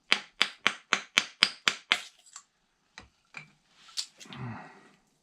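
Someone taps on a carbon fiber composite landing gear and its mold while demolding it, and the tone changes as the part starts coming loose from the mold. Eight quick, sharp, bright taps are followed by a few fainter, scattered knocks and a brief rustling scrape. The part releases and shows no pin holes.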